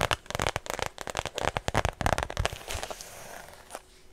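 Long nails tap and scratch a small, hollow white structured faux leather shoulder bag with red lining and a strap. About seventeen quick, irregular crackling taps ring out sharply over the first two and a half seconds. They then give way to a softer, steady scratching rasp with one brief bright click near the end.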